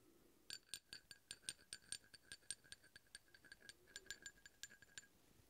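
A steel drill bit taps and scrapes along the threads of a large, solid steel hex bolt, producing a quick run of about two dozen quiet, bright metallic clinks. Each clink is sharp and dies away almost at once, with a high ringing tone and little low end.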